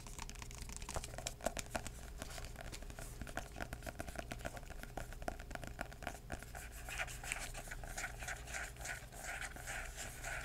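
Short-nailed fingertips tap and scratch a purple floral hardcover book or album with cardboard covers, held upright. Quick, dry, soft taps blend with scratchy, brushing rustles and faint bright crinkles over a steady low hum, with no ring after each tap.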